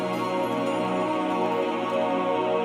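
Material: Nothing is struck.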